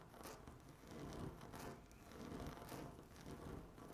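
Long natural nails scratch across a flat, solid speckled laminate tabletop, making dry, raspy scraping strokes that swell and fade in repeated waves. The quiet, close sound has a soft low rumble under brief bright bursts of friction.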